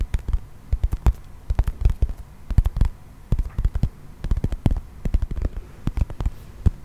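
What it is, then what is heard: Plastic toy figurine. A brown textured plastic toy mammoth figurine is held close to the mic and tapped and scratched with fingernails. Quick, dry, bassy taps come in irregular clusters with brief pauses, each one dying out almost instantly, over a faint low rumble.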